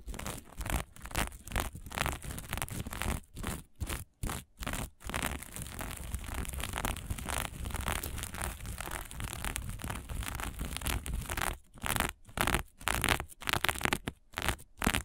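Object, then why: Sequin-covered fabric patch. Long nails scratch and flip a small patch of fabric covered in green and blue sequins, making fast, dry, crinkly rasps across a wide range from low rumble to bright hiss. Quick bursts with short gaps open and close the clip, with a stretch of steady, continuous scraping in the middle.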